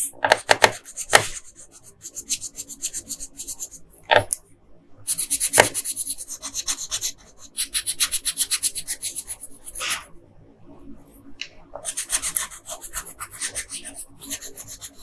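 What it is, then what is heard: Paper sheet scratched by a colored pencil. An orange colored pencil scratches across a flat printed paper coloring sheet while coloring in a figure's crown. Quick, bright, raspy back-and-forth strokes come in bursts separated by short pauses, with a few sharper taps near the start and around the four- and five-second marks.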